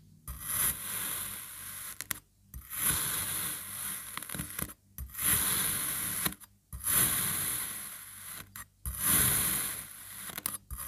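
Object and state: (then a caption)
Kinetic sand being sliced. A black serrated knife slices repeatedly through a solid, palm-sized crab molded from pink kinetic sand, cutting it into thin layers. Each slow stroke gives a crunchy, gritty scrape with a bright, high hiss, separated by brief quiet pauses between cuts.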